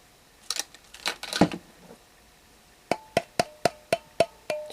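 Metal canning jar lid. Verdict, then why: Sealed. A metal lid on a sealed canning jar is tapped for comparison. After some brief clattering, seven evenly spaced light taps each give a short, clear, ringing metallic tone rather than a hollow one. The solid sound marks this jar as properly sealed and fine.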